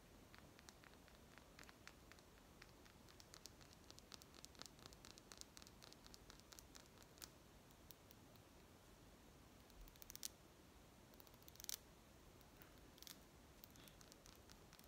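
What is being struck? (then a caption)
Small glass bottle with plastic cap. Long nails tap and scratch a small amber glass essential oil bottle with a black plastic cap and paper label. Quick, bright clicks and scratchy ticks come in dense clusters over a soft, steady hiss. A few sharper, louder taps stand out near the end.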